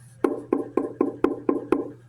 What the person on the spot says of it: you can hear that this is just a top. This is like a thin piece of wood.